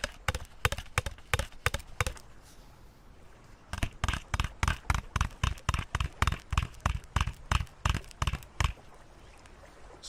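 A bottle is tapped rapidly with short, dull taps in two runs separated by a pause of about a second and a half, 32 taps in all. Each tap is a brief, low-heavy knock that dies away almost at once.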